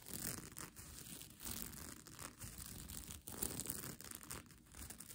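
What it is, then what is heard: Plastic sequin blanket. Long nails scratch and tap the plastic sequins of a sequin blanket lying bunched up. The result is a quiet, continuous crinkly rasping with bright, hissy highs over a soft low rumble, swelling and dipping as the nails move across the sequins.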